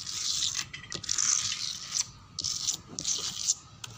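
Fingernails scratch a dark brown wooden door panel with a clawing motion. Bright, high rasping strokes come in bursts separated by brief pauses, with almost no low end.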